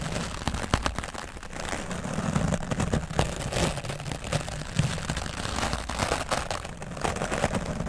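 The bristles of a wooden dry brush scrub the top of a grey foam microphone windscreen. The result is a steady, muffled scratching and rustling with a heavy low rumble, broken by frequent short, sharp scraping strokes.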